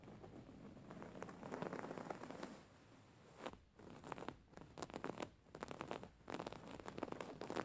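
Long painted fingernails of both hands scratch a soft, stuffed white cotton pillow with raised thread embroidery. The result is quiet, dry, rapid scratching and crackling, like a rain-like patter, in bursts separated by short pauses.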